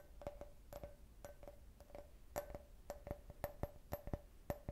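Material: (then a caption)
Glass. An empty, hollow clear glass cup shaped like a beer can, with a printed logo, is tapped and scratched on its side with long nails. Quick, quiet clicks with a short glassy ping around 580 Hz come in an uneven rhythm, with soft scratching between them. Each ping dies away almost at once.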